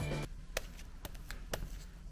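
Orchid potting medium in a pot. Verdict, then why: Dry. Fully dried, hardened orchid potting medium in a pot gives a few short, crisp, dry crackles over a low steady hum. The medium is completely dry and should be watered right away, thoroughly, until the pot is flooded.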